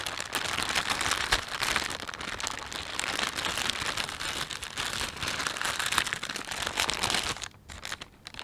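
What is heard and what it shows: A thin, empty panda-print plastic shopping bag is rubbed and crinkled with flat hands and fingertips. The result is a dense, continuous bright crackling that stays steady for about seven seconds, then drops off into quieter, sparse rustles near the end.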